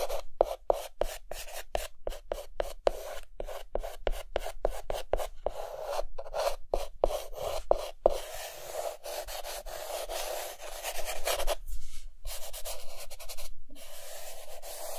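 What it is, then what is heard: Chalk scratching on a chalkboard. A white chalk stick held in the fingertips rubs and hatches across a dark green chalkboard to fill in a mask drawing. It begins with rapid, separate scratching strokes, then blurs into a steadier dry rub around 500–600 Hz, with brief pauses near the end.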